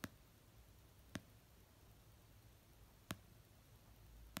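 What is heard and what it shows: Long painted nails slowly tap the cover of an orange paperback novel resting on a blanket. Four short, dry clicks are spaced well apart over a quiet, low hum, each with a soft low thump and a bright tick that dies away almost instantly.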